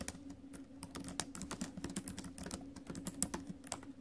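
Fast, light typing on a silver metal laptop with plastic keys, tapped with fingertips and acrylic nails. The result is a quick, uneven run of soft, short clicks with bright clacks of the nails, over a steady low hum.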